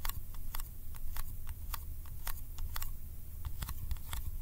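Fingertips tap and stick on the lid of a small round yellow metal candy tin held in the hand. The result is a rapid, irregular series of short, dry, bright ticks and sticky clicks that die away almost instantly, over a steady low hum.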